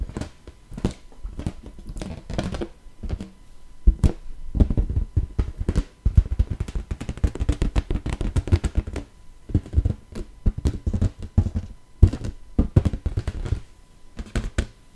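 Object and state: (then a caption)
Inflated latex balloon. An inflated, hollow, air-filled teal latex balloon is held close and tapped and patted with long nails and fingertips. The result is a dense stream of quick, dull, drum-like thunks, deep and muffled with almost no ring, coming in clustered bursts with brief pauses between them.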